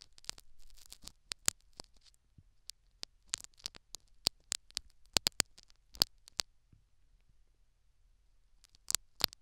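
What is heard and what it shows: A thin metal syringe needle pokes and scratches a tan foam plug inside the canal of a life-size silicone dummy ear microphone in repeated small strokes. The result is a scattered run of sharp, dry, bright clicks and faint scratchy patter that die away instantly. A quiet gap near the end is followed by two final louder clicks.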